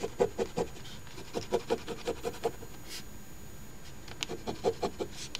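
A coin edge scratches the latex coating off the crossword grid of a thin, flat paper Ontario Lottery OLG $10 Crossword Deluxe instant scratch ticket (#3354) lying on a table and held down by fingers. Quick, dry, raspy strokes come in an uneven rhythm, with a run near the start and another near the end separated by a quieter pause. Each scrape stops dead with no ring.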